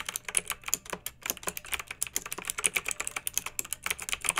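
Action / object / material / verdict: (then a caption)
tap / plastic mechanical keyboard / plastic / none. Fingertips with long nails type continuously on a pink backlit plastic mechanical keyboard with round keycaps. About 29 quick, crisp clacks follow each other with almost no ring and very little low end, the sound sitting mostly in the bright, high range. The result is a steady, light, clicky patter.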